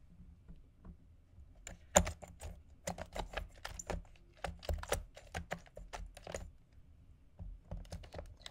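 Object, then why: Ice balls on ice cubes in a plastic container. Fingertips and nails tap and scratch two round, solid ice balls resting on ice cubes in a clear plastic food container. The result is a quiet run of sharp, bright, clicky taps that die away almost instantly, with soft scraping between them and a low background hum.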